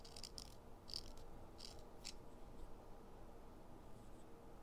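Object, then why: Chalk stick on perforated metal foot file. A solid green sidewalk chalk stick is rubbed back and forth by hand on the perforated metal surface of a purple foot file set over cardboard, leaving a pile of green dust. Short, bright, gritty rasping strokes come in quick bursts over a quiet, steady low rumble.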